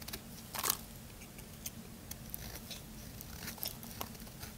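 A small metal blade carves along the edge of a solid white bar of soap in scraping strokes. Soft, crisp, bright scrapes and faint crackles come in short bursts over a low steady hum, with the loudest scrape near the start.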